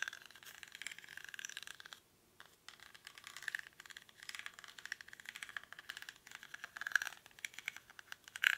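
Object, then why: Woven rattan basket. Fingernails scratch the weave of a small, hollow woven rattan/reed basket held in both hands, its contents unseen. The result is dense, dry crackling and rustling scratches, bright and without low end, with a brief pause near two seconds and sharper, louder scrapes near the end.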